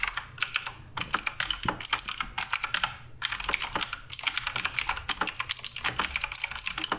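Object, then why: Plastic mechanical keyboard keycaps. Continuous fingertip typing on the plastic keycaps of a black RGB Redragon K588 Broadsword mechanical keyboard. Rapid, bright, clacky keystrokes come in quick bursts with brief pauses, each click short and dry with very little low end.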